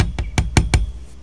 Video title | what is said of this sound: My Life With Rokke Ep. 21: "WHAT'S THAT NOISE?" | these screws definitely have kind of a clacking sound